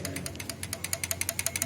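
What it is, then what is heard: Engine rocker arm with free play (loose, valve clearance present). A steel rocker arm on a Kijang K-series engine is rocked by hand and gives about 13 quick, bright metallic clicks and rattles over a low background hum, with a faint tone near 660 Hz. The arm moves freely because cylinder number 4 is on its compression stroke, which is the normal sign that its valve clearance can be adjusted.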